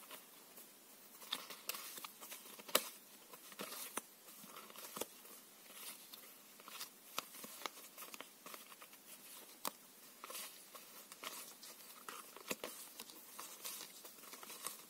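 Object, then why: Deck of paper playing cards. A paper playing card deck with blue backs is split into two packets in the hands and shuffled, the cards interleaving so they slide and patter against each other. Soft, bright, papery rustling runs throughout, broken by sharp little clicks and flutters, with almost no low end.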